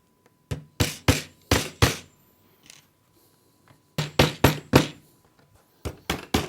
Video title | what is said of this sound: IT Range 500 Base Unit with Three Drawers Assembly | Tap it until the sound changes.